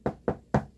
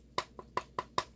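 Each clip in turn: First: Three short, dull knocks with a warm low-mid thud and almost no ring: plain wood. Second: Five quick knocks with a clicky mid pitch and almost no ring: a plastic rifle stock, not wood.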